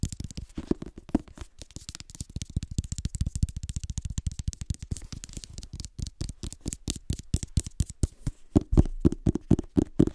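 Fingertips rub and scratch the cover, spine and page edges of a red illustrated hardcover book. The result is a dense, irregular run of quick, dry scratching strokes with a soft, low-heavy body and faint bright hiss, getting a little louder toward the end.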